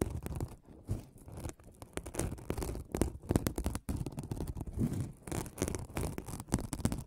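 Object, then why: Folded aluminum mesh scrubbing pad. A folded aluminum mesh scrubbing pad, held beside the microphone, is scratched with the nails of one hand. The result is a dense, crinkly scratching in irregular bursts, weighted heavily toward low, rumbling tones with little brightness.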